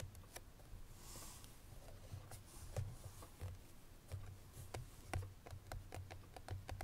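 Long nails tap on the front face of a hollow cream paperboard Chloé perfume box with the bottle inside. The result is an irregular series of quiet, hollow taps, each a short dull low thud with a crisp bright click.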